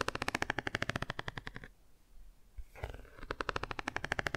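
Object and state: Cardboard board book.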